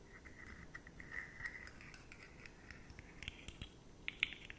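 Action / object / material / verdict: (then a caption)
scrape / segmented plastic fidget slug toy / plastic / none. A rainbow, segmented, hollow and jointed rigid plastic slug fidget toy is scratched and tapped across its stacked segments by long nails in close-up. Soft, dry scratching and quick clicky taps sit mostly in the bright upper range around 2 kHz, with a few sharper ticks toward the end.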